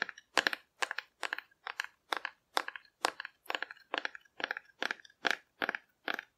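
Long dark-red nails tap and scratch the surface of a hand-sized, hollow cardboard dinosaur figure painted in rainbow colors and held in one hand. About fifteen short, evenly spaced bursts of dry, crackly clicks fill the clip, each made of several rapid taps and scrapes. The sound is bright and papery, centered in the upper mids, with no low end and almost no ring between bursts.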